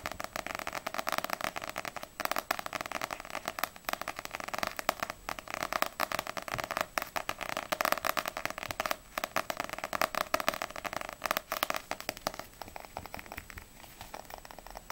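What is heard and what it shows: A small, solid Ousama Game paperback manga with a glossy paper cover is tapped rapidly with long acrylic nails, first on the front cover and then on the spine. The result is a steady stream of crisp, dry clicks with a light papery crackle, concentrated in the mids and upper mids with little low end. The tapping stays dense throughout and eases slightly softer near the end.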